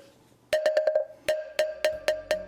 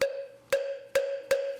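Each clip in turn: First: apricot wood moktak with a clear tone. Second: birch wood moktak with a strong sound.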